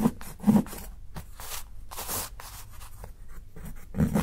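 A steel kitchen knife shaves along the cut edge of a solid, segmented dark chocolate bar held by fingertips, in a few strokes. Soft, dry scraping and shaving rasps with bright, airy bursts come in the middle, while low, muffled knocks near 215 Hz sit at the start and end of the clip.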